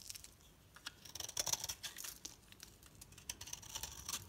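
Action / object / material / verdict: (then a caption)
scrape / bar of soap shaved with a knife blade / soap / none. A solid oval green bar soap, held in the hand, is shaved and scraped into crisp curls with a metal utility knife blade, and the flakes fall onto a plastic tablecloth. The result is a quiet run of dry, crackling scrapes and clicks that are mostly high and bright, with a faint whistling tone near the middle and little low end.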